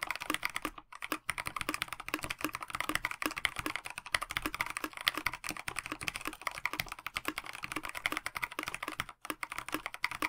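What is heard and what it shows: A KBD67 Lite 65% mechanical keyboard with a plastic case, translucent backlit PBT keycaps and stock linear switches is typed on continuously with the fingertips of both hands. The result is a dense run of short, bright, clicky key taps with almost no ring and very little low end, with brief pauses near the start and end.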